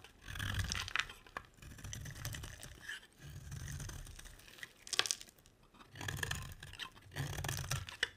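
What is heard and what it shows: A solid rectangular mint-green bar of soap is held in the hand and scraped with a metal utility blade, with long shavings lying beside it. Repeated dry scraping strokes give a low rumbling drag under bright, crisp crackling and tearing, broken by a few sharp clicks as the blade catches.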